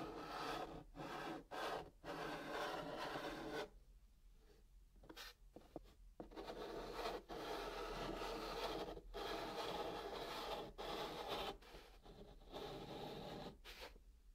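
A hand writes "I Love you" in white chalk on the top of a flat brown kraft cardboard box. Continuous, broadband scratching strokes rub across the surface in bursts separated by brief pauses. A softer, quieter stretch between about 4 and 6 seconds gives way to renewed steady scraping.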